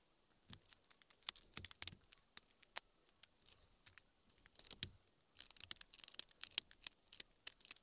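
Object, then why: Small pale wood block. A small steel carving knife whittles a small, solid, pale wood carving blank held in the fingers, relief-carving a mask keychain. Quiet, bright, dry scraping and cutting strokes come in irregular bursts, with sharp clicks and almost no low end or ring.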